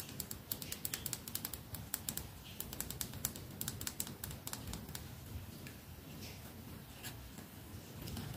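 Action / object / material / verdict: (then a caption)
tap / lacquered wooden hairbrush / wood / none. Long fingernails tap the solid wooden body of a red lacquered wooden hairbrush with natural bristles, held in both hands above a lavalier mic. The result is a quick, irregular run of sharp, dry clicks with bright tops over a steady low rumble, each tap dying away almost instantly, with the tapping easing off toward the end.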